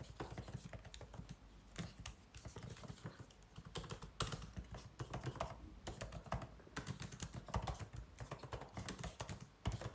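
White cotton-gloved fingertips type continuously on the plastic keys of a 16-inch MacBook Pro keyboard, set in its aluminum body. A dense, steady stream of soft, quick clicks and taps rises and falls, each short and dry, with a muffled low-end thump under the brighter clatter.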